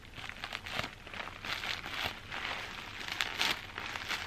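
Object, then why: Plastic bubble wrap. Crumpled clear plastic bubble wrap, held in one hand, is scratched and squeezed with long dark nails. Bright, dry crinkling and scratching come in a steady run of short bursts with almost no low end.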